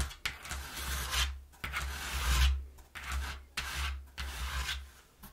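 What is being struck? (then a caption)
Corrugated cardboard box. Fingertips and long nails rub and scratch the inner panel of an empty, partly folded brown corrugated cardboard box. Six separate swelling strokes of dry, bright rasping scrape are heard over a steady low hum underneath.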